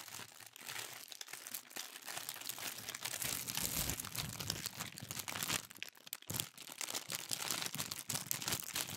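A thin pink tissue paper sheet is gathered and crumpled in the hands, then rubbed and crinkled. The result is a steady, dense stream of soft, bright crackling and rustling, mostly high with little low end, easing briefly around the six-second mark before picking up again.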